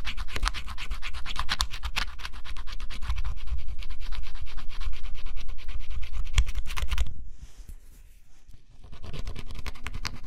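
A stylus scratches the black coating off a flat scratch-off cardboard jigsaw puzzle, making a dense run of quick, rasping strokes over a heavy low rumble. The scratching drops off into near quiet for about a second and a half around the seven-second mark, then resumes at a steady pace.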